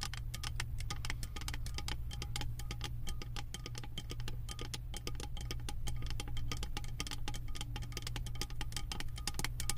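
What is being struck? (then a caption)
Beaded metal candle jar lid tapped with long nails. Long acrylic nails rapidly tap a round, embossed metal lid covered in small metal beads on a full candle jar. The result is a dense, continuous stream of short, bright clicking ticks, each dying away almost at once, over a steady low hum.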